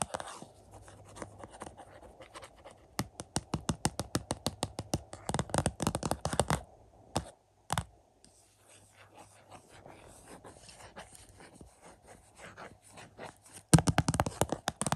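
Fingertips and short nails scratch and tap the glossy cardboard slipcover over the hollow plastic case of a 4K UHD copy of The Birds, resting on a carpet. Soft, steady scratching is broken by quick runs of dry, hollow taps, loudest around the middle and at the end. There is a short near-silent pause before a single tap and more quiet scratching.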